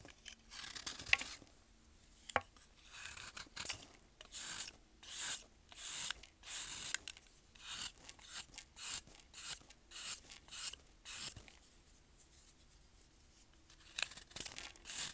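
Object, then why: Pressed baking soda block shaved with a small metal blade. A small metal blade shaves the face and edges of a solid pressed baking soda block held in the hand, leaving chalky, crumbly shavings. About twenty short, bright, dry rasping scrapes come in irregular bursts, with a couple of sharp clicks early on. A quiet gap follows before the last few scrapes.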